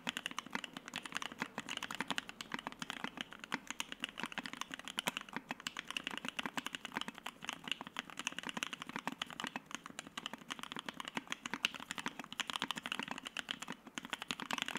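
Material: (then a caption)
PBT plastic. A white Keycult No.1/60 60% mechanical keyboard with Soho switches, an FR-4 plate and PBT keycaps is typed on continuously with the fingertips of both hands. The fast key presses make a dense stream of short, crisp clacks with a bright upper range, a steady mid tone and almost no low end. Each keystroke stops almost at once with no ringing.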